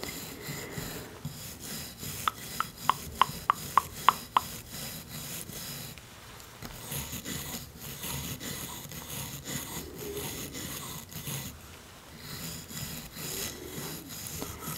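A wooden-handled toothbrush with blue nylon bristles, held in a long-nailed hand, brushes across a row of small, solid painted wooden teeth on a toy dental set. A quick run of sharp, dry clicks with a woody ring around 1 kHz comes early on, then the sound settles into a steady, soft rubbing and scraping that fades in and out in short strokes.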